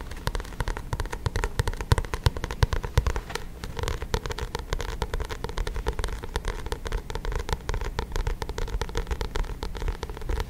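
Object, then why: Paperback book with glossy card cover. Fingertips and nails tap and scratch the glossy card front cover of a paperback book held close to the microphone. A dense, steady run of quick taps and scratchy clicks continues throughout, with mostly low, soft thuds and occasional brighter ticks and crackles, each dying away almost instantly.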